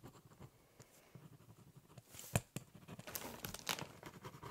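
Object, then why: Corrugated cardboard box. The tip of a metal-and-plastic ballpoint pen scratches across a large, flat, hollow corrugated cardboard box lying on a table while drawing and writing. Quiet, irregular scratching strokes carry a low, hollow resonance from the box. The strokes grow louder and brighter in the second half.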